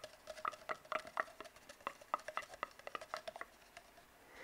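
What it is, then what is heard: Hollow cardboard tube. Fingertips tap and scratch on an empty, hollow brown cardboard tube. The result is a quick, irregular run of dry, soft taps with short hollow tones that die away almost instantly, mixed with faint scratchy rustles. It ends in a low, quiet hiss.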